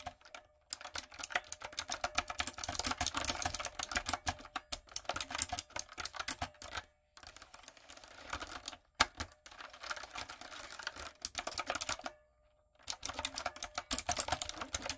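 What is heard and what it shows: A backlit, typewriter-style mechanical keyboard with round retro plastic keycaps and a hollow body is typed on with long coffin nails and fingertips. Rapid, bright, clacky keystrokes come in dense bursts, with brief pauses around 7, 9 and 12 seconds. Each click is sharp and dies almost instantly.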